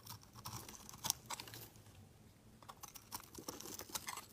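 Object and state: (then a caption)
Bar soap being carved. A utility knife blade scrapes and carves a solid, hand-sized light blue bar of soap, and crumbly shavings fall off. The sound is a quiet run of dry, bright, crisp scraping and crunching strokes with short clicky attacks and no ring. It softens briefly in the middle before the strokes pick up again.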